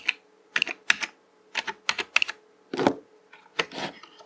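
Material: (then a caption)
Plastic. A fingertip presses keys on a black plastic mechanical computer keyboard with hollow keycaps, then the whole hand types across the letter rows. About a dozen sharp, bright plastic clacks come in short uneven bursts with brief pauses between, each dying away almost at once.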